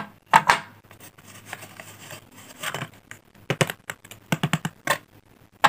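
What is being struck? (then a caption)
Blackboard chalk stick. Solid, cylindrical pink blackboard chalk sticks, about finger size, are held in the fingertips and snapped into shorter pieces above an open cardboard chalk box resting on a glass mat. Sharp, dry snaps with bright, brittle cracks come in scattered bursts, separated by softer crumbling and rustling. Each snap fades almost instantly.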